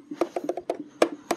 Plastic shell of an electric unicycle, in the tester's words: c'est vrai que c'est plastique. Mais tu sais, toutes les RS et MSP, ouais, donc c'est tout plastique tout le temps. Mais ça, je sais pas, ça sonne solide.